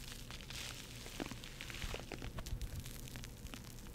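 A yellow-and-pink porous foam bath sponge is held close to the microphone and squeezed and scratched with long nails and fingertips. It gives a steady, soft crackling and rustling with bright scratchy ticks over a low, muffled rumble, with a few louder squeezes standing out in the middle.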